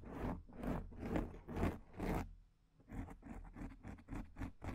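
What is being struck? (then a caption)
Foam microphone windscreen. Long painted nails scratch and rub a black, soft, porous foam microphone windscreen, making muffled, low-heavy scraping strokes with little brightness. Five slow, swelling rubs are followed by a brief pause, then a quicker run of shorter, quieter scratches.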